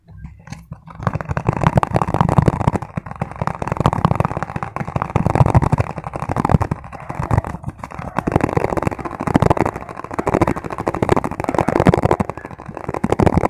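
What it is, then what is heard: Plastic tub. Fingertips and nails tap quickly on the sides and top of a small, hollow white plastic tub with a label, held base-out. After a brief quiet start, a dense, continuous patter of hollow, low knocks runs to the end. It swells and dips in waves, with little bright content.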